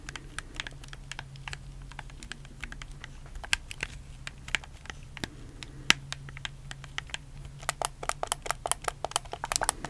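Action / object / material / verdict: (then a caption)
tap / plastic game controller / plastic / none. A black, hollow plastic PS4 controller is held in both hands while fingertips click its buttons and thumbsticks close to the mic. Dozens of sharp, bright plastic clicks come in quick, uneven bursts that grow denser toward the end, over a faint steady low hum.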